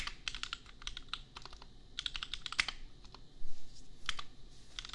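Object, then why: Plastic mechanical keyboard. Two hands type with their fingertips on a compact $250 custom mechanical keyboard with Gateron Milky Yellow switches and red and pink plastic keycaps. The result is a steady run of quick, bright, clacky keystrokes that stop short, with a louder burst partway through.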